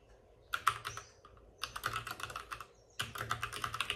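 Both hands tap rapidly with short-nailed fingertips on the plastic keycaps of a white, full-size plastic mechanical keyboard with RGB backlighting, resting on a desk with a padded wrist rest. The typing comes in three quick bursts of crisp, bright clicks centered around 1.3 kHz, separated by short quiet pauses, and each keystroke dies away almost instantly.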